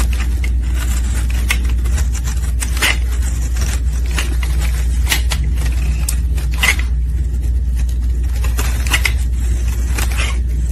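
A metal utility blade shaves curls from a solid rectangular orange soap bar, and the curls fall away. Short, bright scraping strokes come through over a steady low hum that holds an even level throughout.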